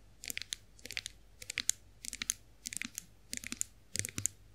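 Long acrylic nails tap and scratch the smooth handle of a chrome-finished face roller. The result is quick, bright clicky bursts in about seven short clusters, each made of several sharp taps with almost no ring and very little low end.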